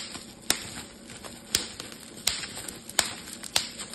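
A clear plastic bubble wrap sheet is held in both hands while the bubbles are squeezed and popped with fingertips and thumbs. Five sharp, bright pops stand out at uneven intervals, each dying away almost instantly, over a steady faint crinkling and crackling of the plastic.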